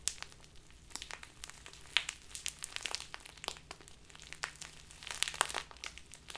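A small crinkly plastic bag full of loose tea is squeezed and crumpled in both hands with long nails. Dense, bright crinkling and crackling comes in quick sharp snaps with no ring, and a faint low hum sits underneath.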